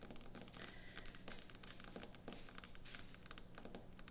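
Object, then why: Quartz stone kitchen countertop. Fingernails tap and scratch quickly across a solid white speckled quartz kitchen countertop. The result is a dense run of quiet, bright, dry clicks and scrapes that die away almost instantly, over a faint steady low hum.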